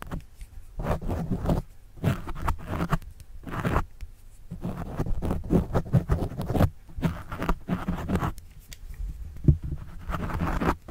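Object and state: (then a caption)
Foam microphone windscreen scratched with a pen. A pen tip writes and scratches on the black foam windscreen of a microphone. The result is a series of irregular, muffled scratching and rustling bursts with heavy low-end thump, separated by brief quiet gaps.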